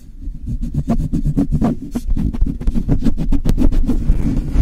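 Fingers and long nails rub and scratch fast across the bare metal mesh grille of a Blue Yeti microphone. The result is a dense run of quick, uneven scraping strokes with heavy low-end thump. Bright scratchy streaks flare up with each pass.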